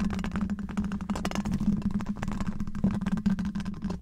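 Long black rubber claw gloves scratch and tap a hollow, domed steel wire-mesh microphone grille from both sides. The result is a dense, continuous run of scraping and rapid tapping with a steady low hum near 195 Hz underneath. The hits come too thick and close together to count separately.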